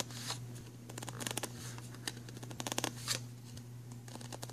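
Fingertips and nails tap and scratch along the ridges of an empty black ridged plastic pencil tray, hollow underneath and resting on a fabric bag. Quick, bright clicking taps come in clusters over soft scratchy rasping, each dying away almost at once. A steady low hum runs underneath the whole time.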